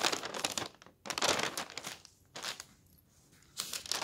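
A paper newspaper rests on a table as a hand lifts and turns a page, then fingertips rub along the paper surface. Bright, dry crinkling and rustling comes in several bursts separated by brief near-silent pauses.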